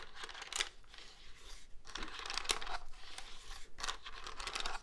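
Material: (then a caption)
Plastic. Fingertips and nails tap and scratch the front and keys of a hollow black plastic cordless phone handset held upright with its keypad showing. The result is quiet, bright, crackly scratching broken by sharp little clicks and brief pauses between strokes.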